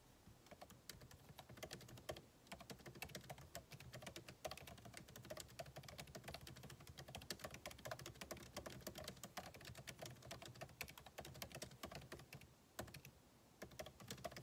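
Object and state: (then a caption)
Laptop keyboard with plastic keys. Fingertips of both hands type rapidly on a solid, backlit MacBook Pro keyboard with plastic keycaps in an aluminum body, resting on a desk. The sound is a dense stream of short, crisp key clicks with bright high ticks and a soft low thump under each tap, broken by brief pauses around 2 and 13 seconds.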